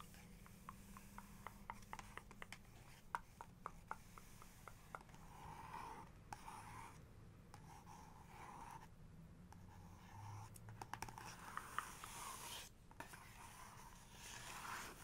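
Fingertips and nails trace and rub over the printed paper of a two-page photo spread in a large book. Quiet, steady scratchy rubbing is broken by short, sharp tapping clicks with no ring, while the hiss of the strokes stays soft and fairly bright.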